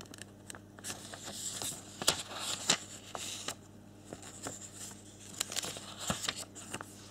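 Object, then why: Thin folded paper leaflet. Fingertips and thumbs rub and flip the pages of a small, thin, flexible folded paper warranty and instruction leaflet held in both hands. Quiet, bright, crisp rustling and crinkling is broken by sharp, short page-flip snaps at irregular intervals, over a faint steady low hum.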